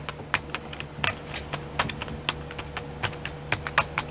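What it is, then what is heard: Plastic sequin pots tapped with nails. Long nails tap the lids of twelve small clear plastic pots filled with sequins, sitting in a pink tray. About 21 short, bright plastic clicks come at an uneven pace, each dying away almost instantly over a faint steady hum.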